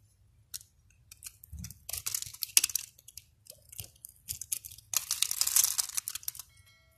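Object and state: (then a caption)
Bar soap cut with a blade. A palm-sized solid yellow soap bar held in hand is scored into a grid of small cubes with a utility knife blade, which scrapes and cuts so the cubes crumble off, leaving flakes on the table nearby. Bursts of bright, crisp scraping and crunchy crumbling come in irregular clusters with short pauses. The sound is dry and high-pitched with almost no low end.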